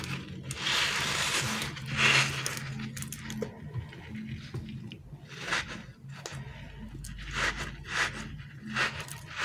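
A small, solid, palm-sized green glittery dinosaur-shaped stretchy toy of soft rubbery TPR is squeezed and rubbed between the fingertips and thumbs of bare hands. It gives irregular bursts of bright, squeaky rubbing and squelching scrapes over a faint low steady hum.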